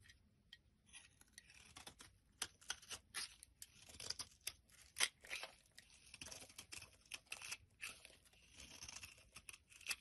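A blade scrapes flat flakes off a solid pale-yellow bar of soap held in the hand. It makes quiet, bright, crisp scraping and crunching strokes in short, uneven bursts, with almost no low end.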